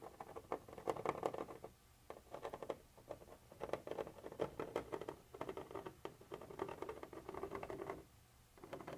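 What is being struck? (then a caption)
Textured plastic surface scratched with a metal pointer. A thin metal pointer tip held by hand scratches and taps across a white translucent textured plastic surface. Quiet, dry, rapid scratching and tapping patters along in bursts, mostly in the midrange, with short pauses near 2, 3 and 8 seconds.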